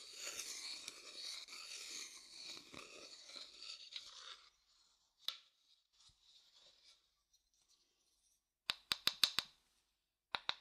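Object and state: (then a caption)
Light wooden bowl, tapped and scraped. A medium, hollow, empty light wooden bowl, first turned upside down and then upright, is scraped and tapped with a thin wooden stick. A dry, bright scraping rasp fills the first four and a half seconds, followed by scattered soft scratches and a single tap. The clip ends with a quick run of about five crisp, short wooden taps and two more just before the end.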